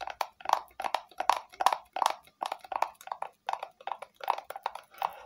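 A small, hollow, red plastic rectangular box is held in both hands and tapped on its sides with long nails. The result is quick, light clicking taps in uneven bursts with a hollow, mid-pitched knock around 1 kHz, bright clicky edges, no low end, and very short decay.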